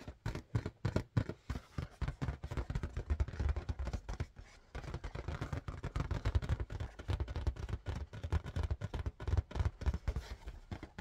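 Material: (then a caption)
Latex. Rapid, continuous fingertip tapping on an inflated red marble-pattern latex balloon produces soft, dull, low thumps around 117 Hz with almost no ring. The taps blur into a busy, uneven patter over eleven seconds, with a brief lull just before the halfway point.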